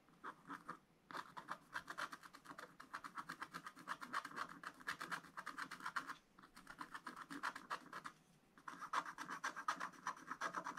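A wooden stylus scratches rapid, repeated strokes across a black wax-coated scratch-art card in a spiral book. It makes a dry, raspy scratching centered in the upper mids with bright edges, coming in quick bursts broken by short pauses.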